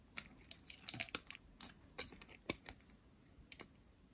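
A hand-sized, pink, solid dry soap bar, held in hands with long painted nails, is shaved into flakes with a metal blade. Quiet, short, crisp scraping ticks come in an irregular series, bright and dry with almost no low end, and each stops at once.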